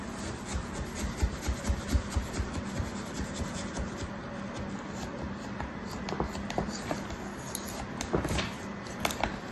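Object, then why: Packed kinetic sand slab in a plastic tray. A thin black tool held in the fingers scratches and scrapes the surface of a flat slab of packed kinetic sand in a plastic tray stamped with round bear shapes. The result is a soft, gritty rubbing and scraping texture over a low, muffled rumble, with irregular short strokes and a few sharper, brighter ticks.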